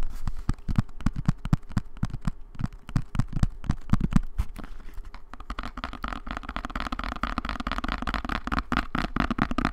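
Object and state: Cardboard box, tapped and scratched.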